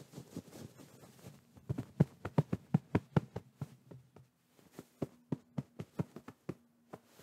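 Fingertips tap and squeeze a medium soft white pillow with a fabric cover, held in front of the microphone. About twenty short, muffled, low thumps follow one another, with a brief quiet gap midway and no bright or ringing tone.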